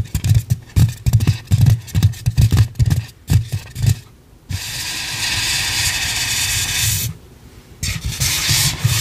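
Long pink acrylic nails rub and scratch a light, head-sized white polystyrene foam mannequin head. Quick bursts of scraping, each with a soft low thump, give way to a steady bright rubbing hiss. After a short pause, the choppy scratching returns.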